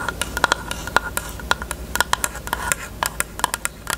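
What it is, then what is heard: Hollow plastic case. Long nails tap quickly on a closed, hollow pink hard plastic rectangular case with a cherry print. The result is a rapid series of short, sharp clicks with a bright edge and a faint hollow ring around 1.4 kHz, each tap dying away almost instantly.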